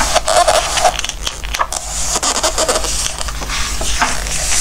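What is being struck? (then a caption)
Glossy paper book pages. Fingertips slide and rub across the glossy pages of an open Christmas craft book, then turn the pages. The result is a steady, bright papery rustling with soft swishes and light crinkles, over a faint low hum.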